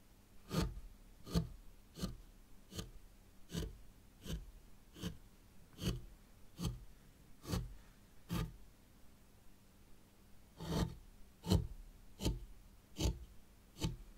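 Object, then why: Fine sand in a small tray, raked with a thin plastic rake. A thin white plastic mini rake, held in long-nailed fingers, is dragged through fine sand in a small hexagonal grey stone-look zen garden tray. Soft, short scraping strokes repeat about once a second, each a brief broadband swish with a bright grainy edge, with a longer pause near the nine-to-ten-second mark. The strokes are quiet and dry, fading almost instantly over a low, steady background.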